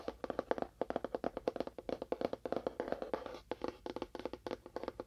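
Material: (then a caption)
Cardboard. A small, hollow, labelled cardboard box with a faux wood finish and a lid is tapped rapidly with fingernails on its end and side. About 35 quick, dry, hollow taps sit around a midrange knock near 500 Hz, with almost no ring between them.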